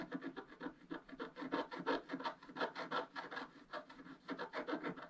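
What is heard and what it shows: A wooden stylus scratches a black wax-coated scratch art page in a spiral book, working near the page edge and the coral. Quick, uneven rasping strokes follow one another in dry, short bursts. The scratchy sound sits mainly in the low-mid to mid range, with almost no deep bass.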